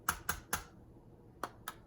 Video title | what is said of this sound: DeLorean Models: Sunstar Vs Autoart (1:18 scale) Pt 1 | It's much lighter, and you can tell just from the sound of me tapping it. This is plastic